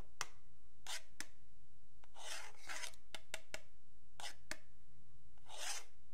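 The metal tip of a ballpoint pen scratches and scrapes along the marked edge of a long, flat, solid wooden yardstick held up by fingertips. Sharp, bright ticks mix with longer raspy strokes, all at a quiet, close level.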